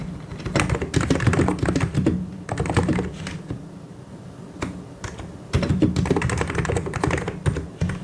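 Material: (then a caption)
Plastic. Fingertips type on the keys of a white and grey plastic mechanical keyboard, producing bursts of quick, irregular clacking keystrokes with a low, thocky body. The typing eases into a quieter, sparser stretch midway, then picks back up into dense, rapid clicking toward the end.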